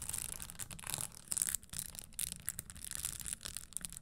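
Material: Leather, metal.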